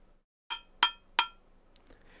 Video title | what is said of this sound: 🎨Diseño de Sonido - #24: Grabación y Sampleo [CURSO COMPLETO] - Tutorial Sound Design | el carácter de lo que estamos obteniendo, por ejemplo, con el objeto metálico, es mucho más brillante, más incisivo